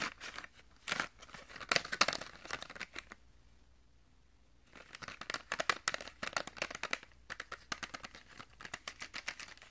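A small Crayola box of 10 washable markers, made of thin printed cardboard with a clear plastic window and full of markers, is held in one hand and rubbed and scratched with the fingertips and short nails of the other. Dense, bright crinkling and scratching comes in quick bursts, stops for about a second and a half near the middle, then resumes in a steady run of sharp scrapes.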